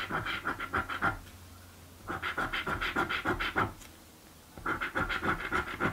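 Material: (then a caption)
Coated paper. A coin scratches the lower coated panels of a blue paper scratch lottery card, making three bursts of quick, rhythmic rasping strokes separated by short pauses. Each stroke is dry and gritty, with a steady tone near 1.3 kHz and a bright edge.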